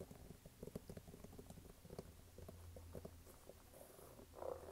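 Fingertips tap and scratch the brown waffle rubber sole and canvas side of a red canvas sneaker. The result is a quiet, dense run of soft, dull taps and papery scratches over a low steady hum, swelling into a brief louder rustle near the end.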